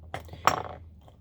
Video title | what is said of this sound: Doing my eyeshadow | shake it - you hear that little ball bearing like a nail polish